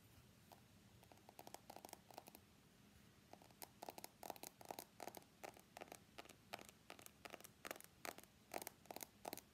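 Fingernails scratch and tap along the steel side frame of an iPhone X held sideways, producing quiet, rapid clicks and short scratchy bursts. Each burst has a thin metallic tone near 800 Hz with bright hiss above it, and the bursts come in irregular clusters over a faint low background hum.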